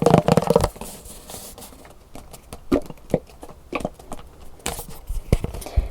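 A plastic lotion bottle with a gold-coloured plastic lid is tapped and handled, giving a burst of dense clicky tapping followed by sparse, sharp plastic taps and light rustling.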